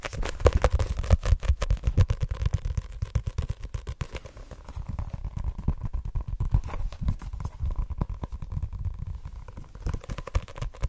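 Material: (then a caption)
Card. Fingertips and nails tap rapidly on the card cover of a white *Assassination Classroom* paperback held in the hand. The result is a fast, steady stream of short, dull, low thuds with a faint papery click and almost no ring. The taps grow slightly softer through the middle before picking up again.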